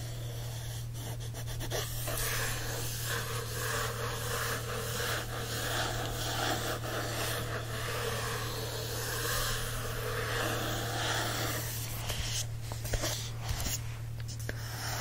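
A fingertip traces and scratches across the matte card front cover of a cream paperback copy of Alice's Adventures in Wonderland, making a soft, steady, breathy rubbing hiss over a constant low hum. Near the end the book is turned to its back cover, bringing a few sharper rustling scrapes.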